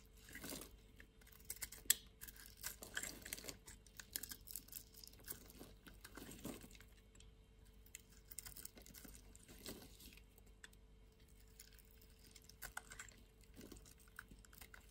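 A utility knife blade scrapes and cuts flakes off the surface of a solid white-pink bar of soap, pre-scored in a diamond grid and held in the palm over soap shavings. The result is soft, dry, crunchy scraping and crisp crumbling bursts with bright highs, at a quiet level throughout.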